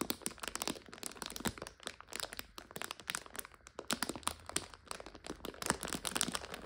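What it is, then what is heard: Plastic bag of dried noodles, crinkled. Long nails scratch and press a clear plastic bag full of dried egg noodles, crinkling it. A dense, continuous run of bright crackles and crunchy crinkles is heard, with quick sharp snaps and little low end.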